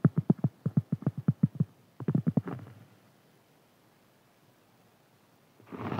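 A large, round, flat, solid cork board is tapped and scratched with fingernails. A quick run of dull, low taps is followed by a short pause and a tighter burst of taps that trail off. After a stretch of near silence, a soft, rising scratching sound comes in at the end.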